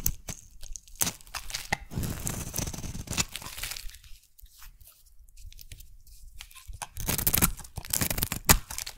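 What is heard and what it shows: A metal blade shaves a solid oval magenta soap bar into thick curls, making crisp, tearing scrapes with a bright crunchy texture and a low rumble underneath. The cuts come in dense bursts, soften to faint scratching through the middle, then return as loud, sharp strokes toward the end.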